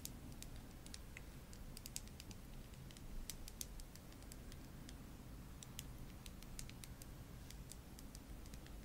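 Long nails tap the black plastic cap and glass body of a small pink OPI nail polish bottle that looks full. Quiet, bright clicks and ticks scatter irregularly over a steady low hum. The taps are soft and short, with no lingering ring.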